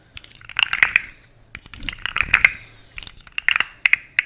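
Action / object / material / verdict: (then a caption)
scrape / segmented plastic fidget slug toy / plastic / none. A long, rainbow-colored, segmented plastic fidget slug toy with hollow segments is held vertically and twisted and flexed by hand, making its segments click. Irregular bursts of sharp, dry, bright clicking and crackling come in clusters, centered around 2 kHz with little low end. Each click stops almost instantly.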